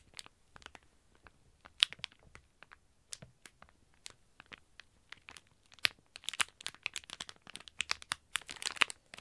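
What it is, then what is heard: Plastic packaging bag. Fingertips and nails of both hands scratch and crinkle a sealed, flat plastic packaging bag holding an IBloom Mini Sanrio toast squishy, lying on a table. The result is quiet, bright, sharp crinkles and crackles with almost no low end. They come in scattered bursts that grow denser and busier toward the end.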